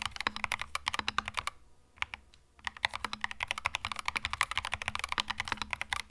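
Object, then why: Mechanical keyboard with plastic keycaps. A compact cream mechanical keyboard with plastic keycaps is typed on quickly with the fingertips, making a dense run of short, sharp clicks with bright, high-reaching edges and almost no ring. The typing pauses briefly near the middle, with only a few scattered taps, then resumes just as fast.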